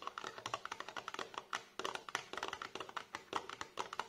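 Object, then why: Small cardboard box. Fingertips and short nails tap and scratch the sides of a tall, narrow, printed cardboard box for a 9 ml perfume bottle, which stands upright and hollow on a table. The sound is a quick run of light, dry, hollow taps with brief papery scratches, centered in the mid range with a bright edge and almost no low end. Each tap stops almost at once.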